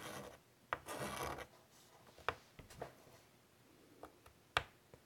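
White chalk draws a small new shape on a large wood-framed chalkboard, lightly scratching the board. Short raspy strokes at the start give way to a series of brief, sharp chalk taps and ticks, dry and bright with almost no ring.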